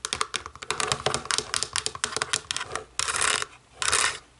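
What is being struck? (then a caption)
Plastic remote control. Long nails tap the back of a small, hollow black plastic DVD remote control lying face down, then tap its rubber buttons once it is turned face up. A quick run of sharp, bright clicks is followed by two longer rasping bursts.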